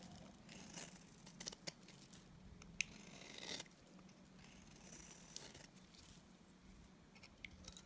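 A solid white oval bar of dry Timotei soap is held in the hand and shaved with a box cutter blade. Soft, bright scraping strokes and crisp little cutting clicks come through over a faint low hum, with a louder stretch of shaving in the middle.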